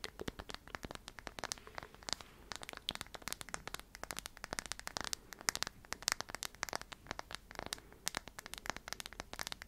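Long nails tap and scratch the flat surface of a wooden tree slice coaster, a small solid round slice of light wood with visible growth rings held in the hands. It makes a quiet, rapid run of dry, bright clicks and scratchy crackles with almost no ring or low end.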